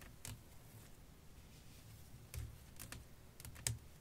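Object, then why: Flat glass pane. Long nails tap on a flat, clear glass sheet laid over lace fabric, giving six short, bright clicking taps spread unevenly over a quiet, low background hum. Each tap dies away almost instantly, with no lingering ring.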